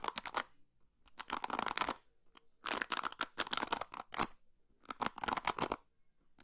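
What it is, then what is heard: Plastic hairbrush pins strummed. Long pink nails scratch and strum the white plastic pins of an orange and blue plastic paddle hairbrush close to the microphone. Bursts of dry, bright rattling and clicking come in several clusters separated by short silences, with no ringing after each stroke.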